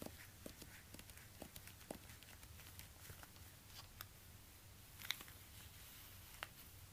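Fingertips in orange rubber gloves tap and scratch a black suede high-heel ankle boot held in the hands, working over both the suede and the sole while a second shoe nearby is left untouched. Quiet, short, dry taps and soft scratching rustles with brief bright clicks sit over a steady low hum.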